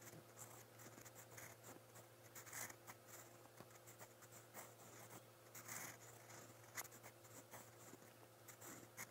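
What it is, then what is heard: Paper notebook page under a pen nib. A silver steel fountain pen nib scratches across a lined white spiral notebook page while writing brown Korean text. Quiet, irregular bright scratching strokes come in short bursts over a steady low hum.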